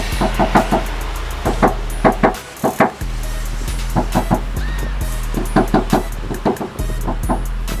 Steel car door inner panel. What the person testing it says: pada bagian dalam ini belum ada peredam ini yang bikin suara Speakernya itu mengaung dan juga berisik ya kalau dari luar